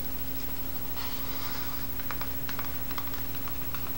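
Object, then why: Cardboard-covered spiral notebook. A small grey pocket spiral notebook with a cardboard cover, wire binding and a solid paper block is held in one hand while the fingertips and nails of the other hand tap and scratch its cover. A soft, airy scratching in the first half gives way to a run of light, dry, irregular taps. A steady low hum sits underneath throughout.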